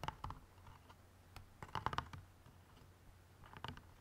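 Fingernails tap on the outer cardboard side walls of an open white cardboard jigsaw puzzle box bottom holding a bagged puzzle. Irregular clusters of short, dry clicks ring around 880 Hz and stop almost instantly. They are heard over a faint steady low hum.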